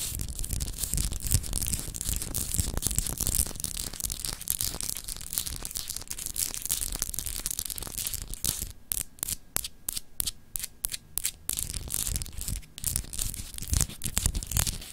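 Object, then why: Glass globe paperweight. Long acrylic nails scratch rapidly across a palm-sized solid clear glass globe paperweight with etched continents, held in both hands. The result is a dense, bright, raspy scratching with a low rumble underneath. Midway through, the strokes become sharper and more spaced out before returning to continuous scratching.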